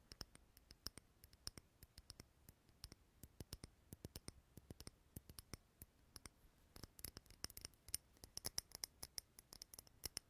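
Fingernails tap the sides of a small clear glass candle holder filled with green wax, making a quiet, irregular stream of sharp, bright clicks. Each tap is a very short, dry tick with a faint high glassy ring that dies away almost at once. The taps come in uneven runs throughout, growing denser and slightly louder toward the end.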